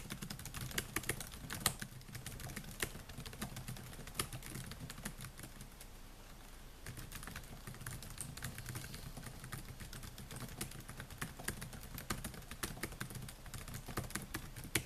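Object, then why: Plastic laptop keyboard keys. Fingertips type on the plastic keys of a silver Dell laptop with a metal and plastic body, producing a steady stream of quick, short, bright taps. A low hum runs underneath, and the typing eases briefly around the middle before picking up again.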